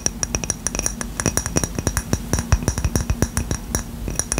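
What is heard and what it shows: Short fingernails and fingertips tap and scratch the surface of a small, round, white ceramic coaster, solid and flat, held in one hand close to the mic. A quick, uneven run of sharp, bright clicks and clinks comes with no ring, over a low scratchy rustle.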